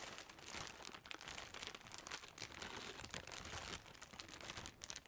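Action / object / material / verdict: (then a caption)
shake / plastic trash bag / plastic / none. A large, partly filled white plastic trash bag with a woven texture is held up and crumpled and rustled by black-gloved hands, while a second grey bag stands nearby untouched. A steady, dense crackling and crinkling fills the clip, mostly bright and high with little low end, swelling and dipping in loudness without separate distinct hits.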